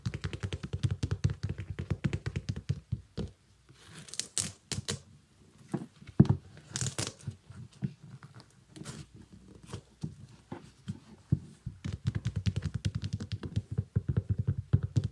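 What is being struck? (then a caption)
Small synthetic leather sneaker with rubber sole. Fingers tap the shiny iridescent synthetic upper of a small, empty kids' sneaker and handle its laces; the sneaker also has a rubber sole. Dense runs of quick, dull low taps are broken by a few sharper crinkly, scratchy bursts in a quieter middle stretch. The sounds are soft and dry, with almost no ring.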